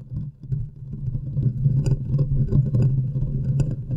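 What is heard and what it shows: Long nails scratch around the hollow metal mesh grille of a large condenser microphone with both hands, producing a dense, boomy low rumble with brief bright scrapes and clicks on top. The scratching swells and stays loud and uneven throughout.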